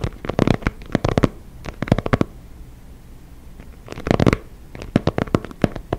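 Fingertips and nails scratch and tap the surface of an inflated synthetic leather soccer ball, making short, dry, low-heavy bursts of scratching and tapping with no ring. The bursts come in clusters, pause into near-silence for a moment, then return with a denser rustling swell as the hand moves close to the mic before more sharp taps.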